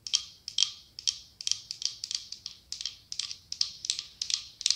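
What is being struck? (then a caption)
Glass candle jar with wax. Long acrylic nails tap and scratch a cylindrical glass candle jar with autumn leaf decals, filled with pale wax. The result is a quick, steady run of bright, high-pitched clicks with tiny, quickly fading glassy rings and no low end.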